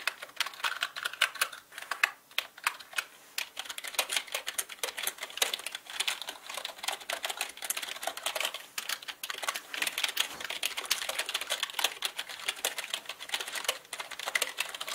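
Fingertips type on a black mechanical computer keyboard with plastic keycaps, moving between the main keys and the number pad. Rapid, dense clicks and clacks come with uneven, bursty timing, sounding bright and dry with almost no low end.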